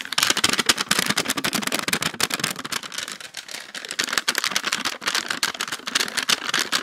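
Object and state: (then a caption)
Plastic tub tapped and scratched with nails. A small clear plastic tub with a lid, filled with purple slime and held in both hands, is tapped and scratched quickly with long acrylic nails. Dense, bright plastic clicks and scratchy rustles run throughout, each tap short and dry with almost no low end.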